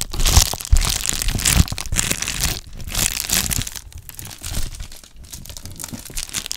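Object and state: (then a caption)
Plastic bubble mailer envelope. A medium-size, hollow, white and blue Amazon Prime plastic bubble mailer is crinkled and squeezed with fingertips and painted nails. Dense, irregular crinkling and crunching with bright, crackly detail and a low rumble of handling noise is loudest in the first two seconds, then continues more softly to the end.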